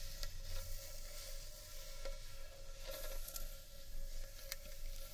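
Fingertips and long painted nails rub and scratch the inside and irregular rim of a large, hollow, empty, natural carved wooden bowl. The result is a soft, continuous scratching and rubbing texture over a steady low rumble, with a faint hollow tone ringing through. A few brighter scrapes briefly stand out.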